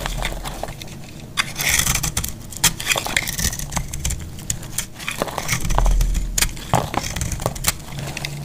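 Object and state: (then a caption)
Very dry soap bar. A hand-held, solid, very dry yellow soap bar is scraped and shaved with a metal box-cutter blade, with crumbly flakes falling onto a grey cloth. Dry crackling scrapes and sharp, bright ticks come in an irregular run over a low background rumble.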